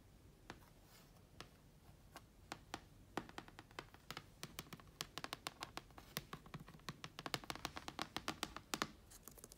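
Fingertips and long nails scratch and trace along the vinyl sticker edges on a closed black plastic laptop lid resting on carpet. Short, dry, bright scratching clicks start sparse over a faint hiss, then grow quicker and denser. Each one dies away almost instantly, centered around 1.2 kHz.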